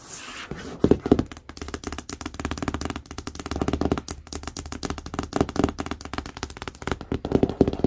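Long acrylic nails tap rapidly across the printed screen area of a large, hollow cardboard TV box. The taps are quick and dry with a hollow, low-mid thud and almost no ring, and slightly louder clusters of taps stand out now and then.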